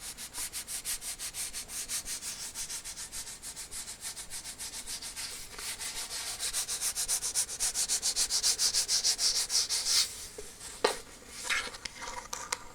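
An empty plastic shampoo bottle is scratched or rubbed in quick, steady strokes, making a dry, bright, hissing scrape that repeats about three times a second. The strokes grow louder toward the middle, then stop abruptly and give way to a few sparse, softer scratches and a couple of sharp clicks.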